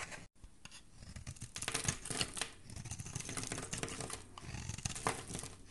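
A solid oval green soap bar held in the hand is carved and shaved with a metal utility blade. Dense, crisp scraping and crackling shavings run almost continuously, with a brief silence near the start and sharper bright peaks scattered through the clip.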